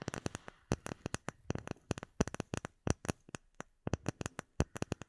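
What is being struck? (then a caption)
Small clear acrylic plate. Long nails tap rapidly on a small, solid, rectangular clear acrylic plate with bubbles embedded in it. About thirty sharp, dry clicks come in quick, uneven bursts, each dying away almost instantly with a bright edge over a low thud.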